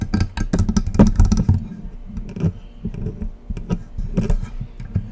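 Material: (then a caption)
Metal. Long acrylic press-on nails scratch and tap the body and side knobs of a silver, hollow metal USB condenser microphone, about 30 cm tall, standing on its stand. A rapid run of dull, hollow taps and rough scratches sounds mostly low and thumpy, with brief bright clicks and short ringing between strokes.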